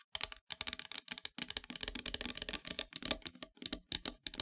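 Long metallic nails tap and scratch near the top edge of a flat, solid, dark painted wooden heart-shaped plaque. Quick bursts of dry, bright clicking and scraping come in short clusters separated by brief silences. Each tap dies away almost instantly, with very little low end.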